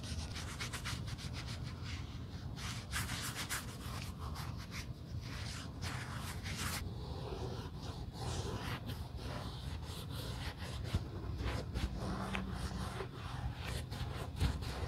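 A cotton pad held in tweezers is rubbed over a hollow red quilted leather Gucci GG Marmont shoulder bag, held in a gloved hand, near the logo and along the side during a color change. The result is a quiet, steady low rubbing and scrubbing with brief bright scratchy streaks.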